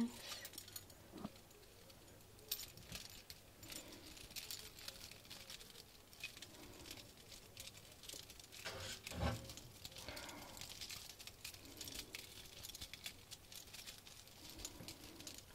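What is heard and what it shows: Fingernails tap and scratch rapidly over the decorated metal mesh face of a small round compact mirror set with beads and metal flowers, held close. Dense, quiet, bright clicking and scratchy rustling continues throughout, with a slightly louder burst near the middle.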